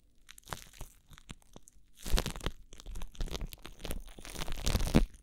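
Thin clear plastic cling wrap is crumpled against a microphone ear while fingertips squeeze and crinkle it. Sparse, crisp crackles at first give way to denser bursts of crunching and crinkling with a heavy low-end thump. The rustling ends quickly with no ringing.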